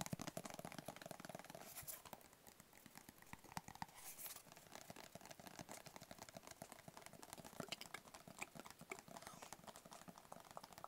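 A closed, hollow black rigid cardboard gift box with a white label is tapped with fingertips and short nails in rapid, continuous patter. The quiet taps give dry, hollow low thumps mixed with bright clicks from the nails, and each tap dies away almost instantly.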